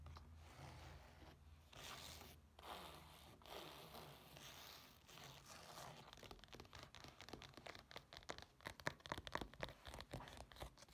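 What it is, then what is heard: Fabric-covered case scratched with nails. Long nails scratch and tap the black textured nylon surface of a flat rectangular case with a flap and a small metal badge, standing on a table. Soft, steady scratching and rustling over a faint low hum give way to rapid, crisp taps and scrapes that grow denser and louder toward the end, each dying out at once.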